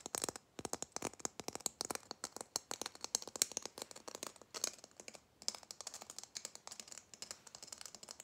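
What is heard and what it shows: A red glitter-coated Christmas bauble, held in both hands, is tapped and scratched rapidly with fingernails. The result is a dense, bright stream of dry, sharp clicks and gritty scratches with almost no ring. The clicks continue steadily apart from a brief pause just past the five-second mark.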